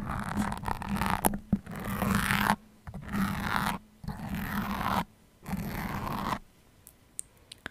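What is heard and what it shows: Fingers with long painted nails pull and wiggle colored-head metal sewing pins stuck in a solid, soft red foam microphone windscreen, scraping and rubbing them against the mic. The clip holds close, crackly rubbing and scratching in four bursts separated by short quiet gaps, with a faint low hum beneath. It ends on a few small, sharp clicks.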